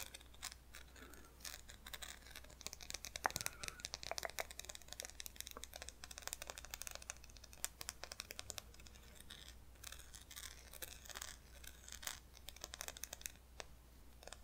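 A small solid chocolate candy wrapped in silver foil is held in the fingertips of one hand and scratched and tapped with the long nails of the other. The result is a quiet, steady stream of bright crinkling scratches and sharp little foil taps with no ring after them.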